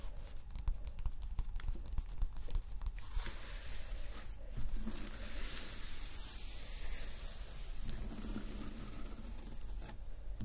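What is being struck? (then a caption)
Thin cork board sheet. Fingertips and nails scratch and tap a thin, flat, solid cork board sheet with a granular surface as it lies on fabric. Quick dry taps come first, then a steady, bright, rasping scratch takes over, all above a low rumble.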